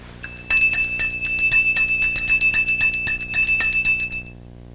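A lead bell, cooled in liquid nitrogen, is struck 15 times in quick succession and now rings with a clear, high-pitched metallic tone and a steady lower partial. Each ring lasts about a second and overlaps the next. The extreme cold has hardened the metal and made it shrink.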